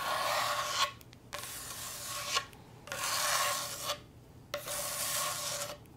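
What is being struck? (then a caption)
Wooden cutting board. A wooden cutting board is scratched and tapped, giving a dry, bright wooden rasp in four long strokes separated by short quiet gaps. A faint steady tone near 1.1 kHz runs under the scratching.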